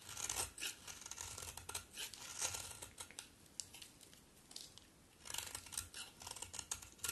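A solid pink soap bar is carved and scraped with a utility knife blade held in long-nailed hands. Bright, crisp scraping and shaving sounds come in bursts, with a quieter stretch in the middle before the cutting picks up again.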